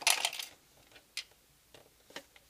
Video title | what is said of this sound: Unboxing 03 - Aliexpress - Arminha de Água | tem alguma coisa balançando solto aqui dentro